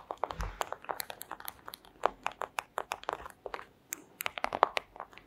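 Long acrylic nails tap and scratch a flat, thin, clear plastic pouch, making a rapid, uneven run of sharp crinkly clicks centered around 1 kHz with bright edges. Each tap dies almost instantly, separated by brief soft scratching rustles, and a faint low thump comes near the start.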